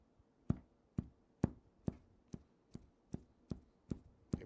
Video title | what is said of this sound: I Tried To Make My First Rug! This Is What Happened! | You can hear it's taut. It bounces back real quick, which is what it's supposed to do.